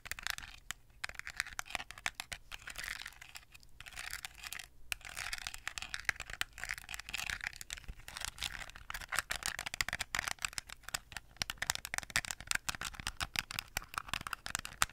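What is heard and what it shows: Long acrylic nails tap and scratch a small hollow plastic toy phone with a decorated back, held close to the microphone. The result is a dense, steady stream of quick, dry clicks and scratchy rustles, bright and crisp with almost no low end, and each tap dies away instantly.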